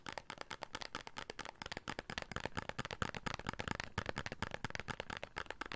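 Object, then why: Paperboard soap box. A small, hollow red printed paperboard soap box is held in the hands and tapped with the fingertips on its faces and edges. The result is a rapid, steady run of short, dry, hollow taps with no ring, carrying a low body and papery brightness.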